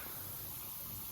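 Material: Nothing is struck.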